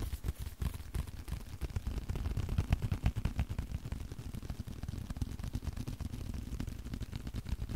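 A leather card wallet is tapped in a steady, fast, slightly uneven rhythm. Each tap is a short, dull, low thud that dies away almost instantly, with very little brightness.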